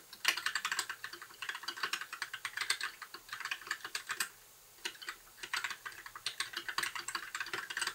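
Fingertips of both hands type continuously on a compact white mechanical keyboard with backlit plastic keycaps, producing a fast stream of short, bright clicks that stop within a fraction of a second and center around 2 kHz. After a brief pause just past the midpoint, the rapid clacking resumes until the end.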